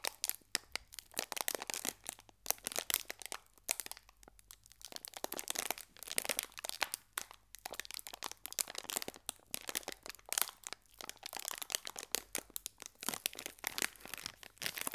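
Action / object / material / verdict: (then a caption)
scrape / metallized foil biscuit wrapper / metallized foil / none. A small green metallized foil wrapper with a biscuit inside is folded and squeezed by fingertips, making a steady stream of sharp, bright crinkles and crackles for about 15 seconds. The sound is quiet and almost entirely high-pitched, with little low end and very short, dry snaps that stop instantly.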